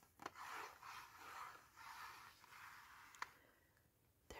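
A small, hollow, printed cardboard box of Melissa Dream sleep tablets is held in both hands and scratched and tapped with fingernails and fingertips, with the contents possibly shifting inside. Soft, papery scratching strokes centred around 1 kHz come in waves, broken by a few crisp, dry taps that die away at once. The whole clip is quiet and close.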